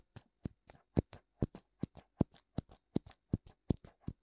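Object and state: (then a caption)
Silicone ear of binaural microphone tapped. Fingertips tap and rub both hollow white silicone ears, with ear canals, on a black binaural microphone. Twenty dull, low, dry thumps come in a loose rhythm, often as a strong tap followed by a softer one, each with a brief bright edge and no ring.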